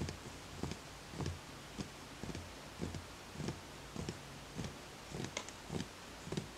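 Fingertips tap the outer side of a small, empty, hollow wooden bowl with a bamboo grain and a footed base. The taps come as soft, dull, short knocks at an uneven pace, each with a low body and a brief bright edge. Behind them sits a steady low hum and a faint hiss.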